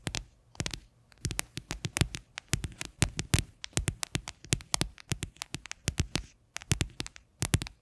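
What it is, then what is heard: Plastic container tapped with fingernails. Long fingernails rapidly tap the base of an upside-down, hollow, white faceted plastic container. Quick bursts of sharp, bright clicks each carry a hollow low thump and stop almost instantly, with short pauses between the flurries.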